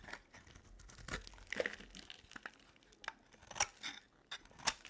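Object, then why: Bar of soap cut with a metal blade. A metal utility blade carves thick curls off a solid oval bar of dry soap, white with a blue rim, held in the hand. It makes quiet, crisp, crunchy scraping strokes with a bright, tearing texture. Short, irregular bursts stand out over a faint hiss.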